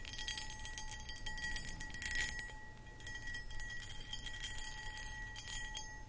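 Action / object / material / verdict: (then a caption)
scrape / cut glass footed bowl / glass / none. Long acrylic nails scratch and tap across a medium-sized, empty, hollow clear cut glass pedestal bowl. The result is a continuous, dense crackle of bright scratching over steady ringing glass tones, a clear pitch near 1.9 kHz with a lower hum around 850 Hz. A soft low rumble sits underneath, and the scratching briefly swells louder near the two-second mark.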